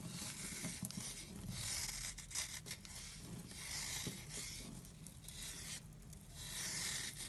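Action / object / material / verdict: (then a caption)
scrape / soap block / soap / none. An oval block of solid, dry, chalky light-blue soap is scraped and carved with a blade, crumbling into powder. Bright, gritty scraping strokes swell and fade in repeated passes over a low, quiet background.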